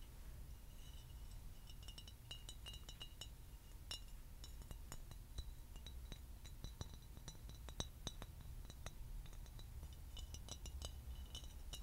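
A tall, clear, empty glass bottle, hollow and held upright near the mic, is tapped with fingernails and rings. Quick, sharp, bright clinks with very short ring come in irregular clusters over a steady low hum.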